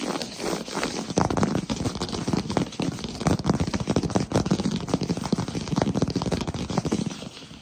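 Both hands tap rapidly on a solid wood-look plank floor with fingertips and short nails. The result is a fast, continuous patter of dull, knocking taps with a low, woody body and very short decay, plus a light clicky edge from the nails.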